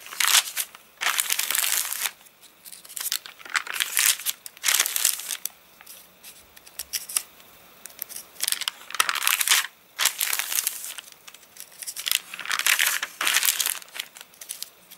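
A flat hand rubs the wavy pages of an open, rain-dried paper catalogue while the fingertips crinkle the page edges. Bursts of bright, dry crinkling and rustling come in uneven waves, separated by short quiet pauses, with almost no low end.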